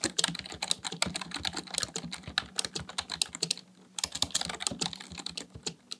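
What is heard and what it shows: Fingertips type rapidly on the keys of a black plastic full-size computer keyboard resting on a desk. The result is a fast, dense run of bright, short clacks with almost no ring, broken by a brief pause near the middle before the typing resumes.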